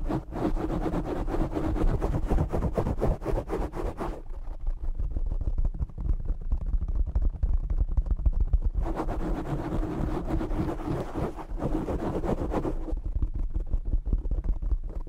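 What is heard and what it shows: Short nails scratch the top of a black foam windscreen on a desktop microphone, producing dense, rough rustling bursts heavy in low rumble. The scratching is brightest and busiest in two stretches, with quieter, duller rubbing and thumps between them, before the hands pull away.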